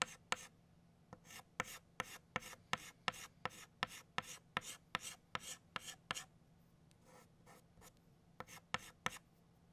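An orange chalk stick draws petal lines on a flat black chalkboard in a steady run of short, quick scratching strokes, each a dry, bright rasp that stops sharply. Toward the end the strokes briefly grow softer before a few firm ones return, over a faint, steady low hum.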